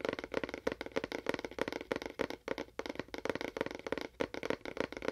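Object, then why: Cardboard box with fingernail taps. A fingernail taps quickly and unevenly on a cardboard box with a faux wood finish, about 19 short, dry taps at roughly 200 per minute. Each tap is a hollow, papery click centred around 470 Hz, with a brief bright edge and almost no ring.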